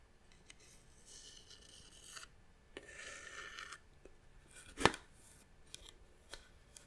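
Long nails scratch along the carved pattern of a small, hollow, hand-carved brown wooden box held in the hand. Two longer bright, rasping strokes are followed by scattered light taps and clicks, with one sharper knock near the middle. The sound is quiet and dry, with almost no ring.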